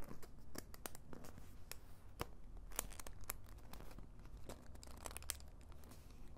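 Long white nails scratch and tap across a flat, medium-sized orange faux leather zip pouch that appears to be empty. Quiet, soft scratching rasps over a low rumble, punctuated by a steady series of sharp, bright little taps that die away instantly.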